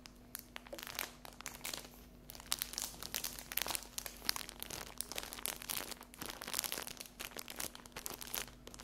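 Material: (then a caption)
Cellophane. A small rectangular pack of paper napkins printed with a 100 euro note, sealed in thin cellophane, is held and then laid on a table. Long acrylic fingernails scratch and tap it. The wrap gives off a steady run of bright, dry crinkling and crackling with quick ticking taps and almost no low end.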